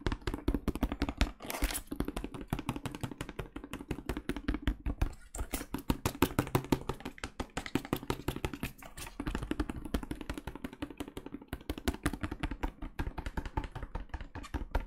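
Gloved fingertips tap quickly and steadily on a medium plastic cleaning-product bottle, full of liquid and held in both hands. The taps are soft, dull and low, with a hollow tone near 270 Hz and little brightness. Each tap dies away almost at once.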